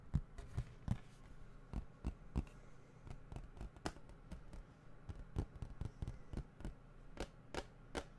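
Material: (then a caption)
Plastic. A hollow plastic video game case, held at its side beside the microphone, is tapped and scratched on its cover with fingertips and nails. A quiet, irregular run of short, dry taps with crisp, bright clicks sits over a soft, low body, and faint scratching fills the gaps between them.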